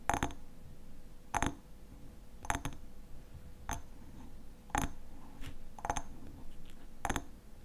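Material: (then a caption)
Glass. Fingernails tap and scratch the glass sides of a medium, partly full hexagonal glass honey jar with a black metal lid, held in both hands. Short, bright clinks with almost no ring come in clusters about every second, with faint scratching and a low background hum between them.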